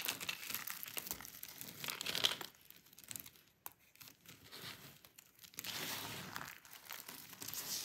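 Hands press, crush and rub a pile of small, dry, brittle chips and crumbs of colorful painted soap between fingers and palm on a textured mat. The crunchy, crinkly crumbling is bright and dense, loud in the first two seconds, quieter and sparser through the middle, then fuller again near the end.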